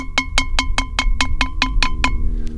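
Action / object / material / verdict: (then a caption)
tap / primitive redware clay jar / fired clay / well fired. A primitive redware clay jar, just taken off the coals after firing, is tapped ten times in a quick, even rhythm. Each tap gives a short, bright clink with steady ringing tones near 1 kHz and 2 kHz, showing the jar fired nice and hard.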